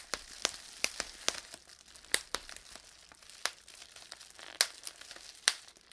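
A small piece of clear plastic bubble wrap has its individual air bubbles pinched and popped between fingertips and thumb. Sharp, bright pops come at irregular intervals over a soft crinkling of the plastic, each snap dying away almost at once.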